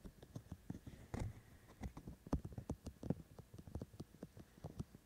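Fingertips of both hands tap on the two white, hollow silicone ear-shaped sides of a handheld black-bodied binaural microphone. The result is a rapid, uneven patter of short, dull, low-pitched taps with almost no ring, and a few taps land harder than the rest.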